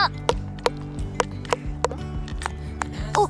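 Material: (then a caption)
Stone. A pebble repeatedly strikes a resonant spot on a rock, producing short, hollow, drum-like knocks with a brief tone around 480 Hz that dies away almost instantly. This spot sounds different from the rest of the rock. Steady low music plays underneath.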